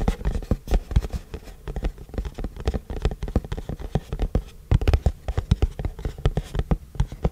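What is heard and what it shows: A long, flat white printed cardboard keyboard box is held in both hands and tilted while fingertips tap and scratch its face and edges. Quick, dry, hollow taps and soft scratches come in a rapid, uneven patter, mostly low thumps with little brightness. Each tap dies away almost instantly.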